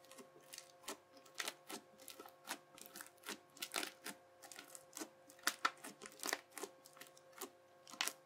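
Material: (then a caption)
Slime. A yellow plastic knife edge presses quickly and repeatedly into a teal, bubbly, crunchy slime sheet, chopping lines into it. Each press gives a short, bright crackling crunch of popping bubbles that dies away almost at once, over a faint steady hum.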